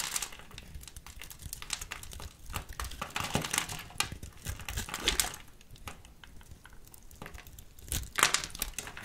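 A small metal blade scores and shaves a solid pink soap bar held in a hand with long purple nails. The carving makes dense, bright, crinkly scraping with quick crackles and short ticks, swelling into louder shaving bursts near the middle and again near the end.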